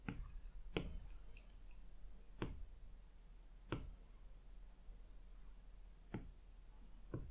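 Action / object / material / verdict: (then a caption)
tap / glass tablet touchscreen and plastic stylus / glass / none. The hard plastic tip of an Apple Pencil taps the glass touchscreen of a large, flat iPad lying as a solid slab on a fluffy rug, picking colours from the palette and placing dots. Six quick, light, dry clicks arrive at uneven intervals, each sharp and bright and dying away almost instantly. A steady low hum runs underneath.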